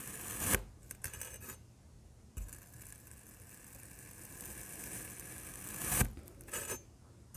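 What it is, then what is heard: Kinetic sand block being sliced. A large printed metal knife cuts slices from a solid black kinetic sand block, giving crumbly tearing and scraping sounds with bright grainy hiss. Sharp cuts stand out at the start and near the end, with a long, softer gritty drag between them.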